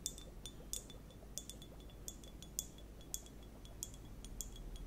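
A small transparent plastic liquid hourglass timer, filled with purple liquid and clear water beads, is held with long nails and turned and tilted so the beads clink inside while the nails tap the shell. Quiet, bright, glassy clinks with a tone near 3.5 kHz ring only briefly and come at irregular intervals, over a steady low hum.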